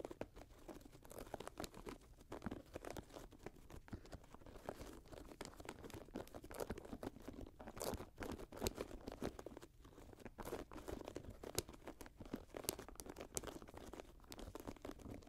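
Long nails scratch the side of the suede and mesh upper of an empty grey Jordan high-top sneaker lying on a lap. The result is a quiet, continuous run of dense, crunchy scratching with brief crinkly bursts and a low-mid body.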